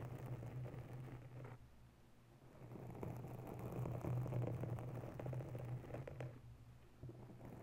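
Long nails of both hands scratch and tap a grey foam windscreen covering a white desktop microphone. The result is a soft, slow, muffled rustling and scraping with a steady low hum around 120 Hz, swelling and fading in loudness over the clip.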